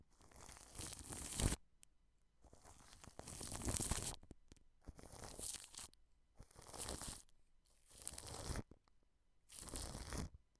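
A wide brush sweeps over plastic cling film stretched over a microphone, rubbing the plastic under the grille. It makes six separate bursts of crinkly, scratchy noise that spread from a low rumble up to a bright hiss, with short near-silent gaps between them.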